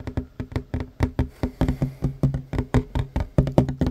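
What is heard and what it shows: Short fingernails of one hand tap fast on a worn wooden tabletop, a large solid surface, giving 22 quick, dry knocks in an uneven rhythm over four seconds. Each tap is low and woody with a brief click on top and dies away almost at once.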